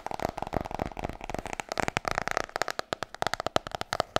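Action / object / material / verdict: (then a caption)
tap / hardcover book, glossy cover / cardboard / none. Long nails tap fast on the cover of a large, solid, glossy hardcover book. The result is a rapid, uneven run of short, dry clicks with a hollow knock around 650 Hz, a bright edge, and almost no ring after each tap.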